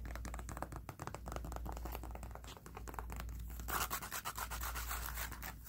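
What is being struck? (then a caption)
Thick stitched leather lifting belt. A thick stitched leather weightlifting belt, held in the hand, has its edge and surface tapped and scratched with fingernails. The result is a rapid run of dry, papery scratches and soft ticks over a steady low hum, turning louder and brighter near the end.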